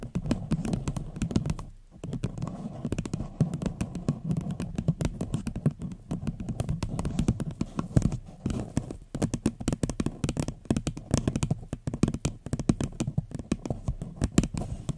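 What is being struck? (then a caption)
Upside-down paper cup. A small, hollow, empty floral paper cup turned upside down is tapped with long fingernails. The result is a fast, continuous run of short, dull, low taps with very little ring. The taps pause briefly near the two-second and nine-second marks.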